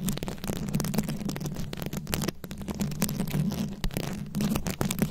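Very long acrylic nails scratch and tap a fist-sized microphone head fully covered in small round rhinestones, likely plastic, held close. Dense, rapid crackling scratches and sharp clicking taps sit over a steady low hum.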